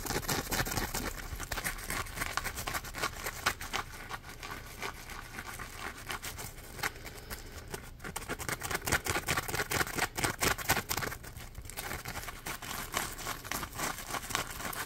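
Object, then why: Polymer foam sponge. A yellow smiley-face Scrub Daddy sponge, a hand-sized polymer foam piece with a ridged edge, is held in both hands and scratched with the fingernails. Dense, rapid scratchy rasps come in quick, uneven strokes with a bright, hissing texture and little low end. The steady soft scratching continues throughout, with slightly louder bursts in places.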